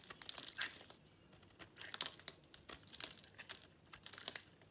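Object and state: Dry bar soap being shaved.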